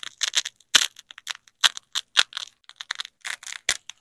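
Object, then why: Nylon hook-and-loop fastener strips. Black-gloved hands press a yellow nylon hook strip and a black nylon loop strip of hook-and-loop fastener together and rip them apart. About seventeen short, separate bursts of bright, crunchy crackling tear out, with almost no low end and no ring. Quiet gaps fall between the rips.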